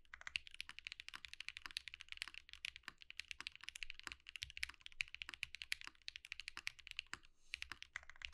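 Steady two-handed fingertip typing on a compact Think6.5 V2 mechanical keyboard with white plastic keycaps produces a dense, fast stream of bright, clacky key presses. Each press is short with almost no ring, and there is only a faint low thud beneath the sharp, high-pitched clicks.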